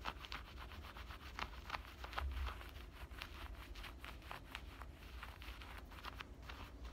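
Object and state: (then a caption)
Denim shorts pocket being scratched. Fingernails scratch the pocket and stitched lining of worn black denim cutoff shorts, producing a steady run of dry, scratchy strokes with bright bursts over a low rumble. Many short scrapes repeat quickly and evenly throughout.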